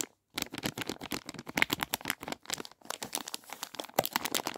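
A clear plastic bag filled with sugared fizzy cola bottle gummies is held in both hands while fingers squeeze and crinkle it. After a brief silence, a dense stream of quick, bright crackles and rustles follows, with little low end and no ringing.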